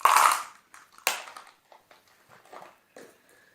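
A small box holding marbles is shaken for a guessing game, making a bright rattle of marbles knocking against each other and the box. The sound comes as two loud bursts with softer rattles scattered between them, after which the box is opened to show what is inside.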